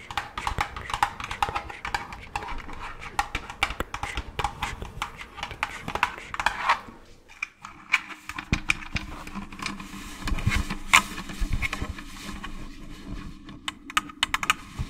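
An empty orange hollow plastic jack-o'-lantern candy bucket, held upside down near the mic, is tapped with long claw-tipped gloved fingers. Rapid, crisp clicking taps ring out in a steady flurry, with a pause around the middle before the tapping resumes with a slightly deeper, hollow resonance.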